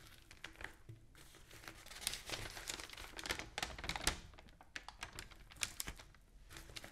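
An open newsprint newspaper lies spread flat while fingernails scratch and tap across its pages and the sheets are turned. Bright, crinkly paper rustles and dry scratching mix with short, sharp taps. The sound is quiet and close throughout.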